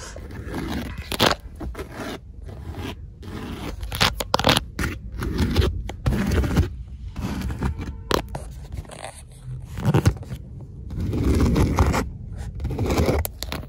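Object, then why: Padded leather car seat. Long acrylic nails scratch and tap quickly and aggressively along the stitched panels of a black leather car seat back, a large padded upholstered surface. Dense, low-heavy scraping rustles are broken by sharp, brief taps with bright edges. The scratching swells into louder bursts in places before easing back.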